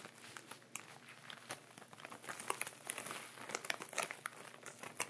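Fingertips and nails rub and crinkle the upper plastic of a clear plastic ziploc bag with sea salt at the bottom, lying on fabric, while a wooden pointer lies unused at its side. A steady, bright crinkling with many sharp, high crackles rises and falls, with almost no low end.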